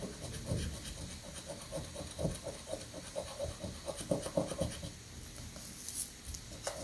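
A coin rapidly scratches the latex coating of a thin paper scratch-off lottery prank ticket held down on a sandy granite countertop. Quick, uneven rasping strokes come about four times a second, each a short dry scrape with a midrange edge. Low rumble and a faint bright hiss run underneath.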